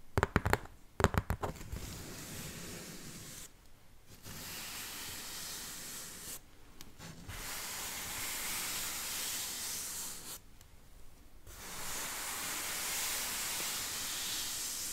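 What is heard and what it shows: A large, hollow corrugated cardboard shipping box has its side slowly rubbed and scratched with fingertips and long nails. A few sharp taps open the clip, followed by long stretches of steady, bright, hissy scratching. Short quiet pauses break up the scratching.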